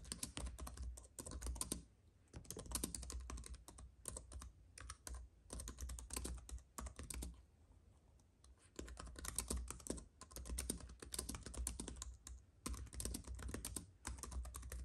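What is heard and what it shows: Fingertips of both hands type fast on a compact white keyboard with plastic keys on an aluminium base, resting on a fuzzy mat. Quick bursts of soft, bright key clicks come in runs separated by short pauses, with one longer gap in the middle, over a steady low hum.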